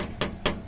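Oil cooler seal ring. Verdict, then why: Hard. Three sharp taps on the oil cooler seal ring from the K6A engine of a Suzuki DA64 automatic turbo minivan, which has an oil leak. Each tap is a hard, short click with a quick decay. The hard sound shows the ring is plastic, not rubber.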